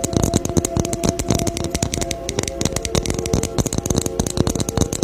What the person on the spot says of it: ASMR TAPPING CON BOLA NAVIDEÑA